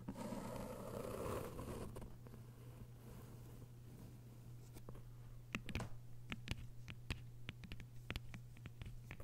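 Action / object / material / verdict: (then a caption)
tap / hardcover book with paper dust jacket / paper / none. Long white nails scratch along the edges of a thick hardcover novel with a paper dust jacket, making a soft, scratchy rustle for the first couple of seconds before fading to a quiet hiss. In the second half, the nails tap on the cover in quick, irregular, sharp, bright clicks. A steady low hum runs underneath throughout.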